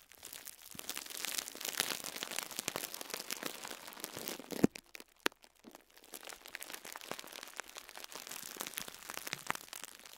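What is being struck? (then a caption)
Foam sponge wrapped in cling film. A small foam sponge wrapped in cling film is squeezed and crinkled by fingertips with short nails. It makes dense, bright crackling and crinkling that runs steadily for about four and a half seconds, then stops briefly around two sharp pops. The crinkling then resumes and continues to the end.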